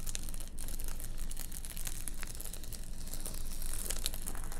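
A large reflective bubble-foil car windshield sunshade with a fabric border lies flat on a table while long nails scratch and tap its quilted metallized foil. The result is a steady, irregular crinkling and crackling with many short, dry taps, bright crisp edges, and a low rumble underneath.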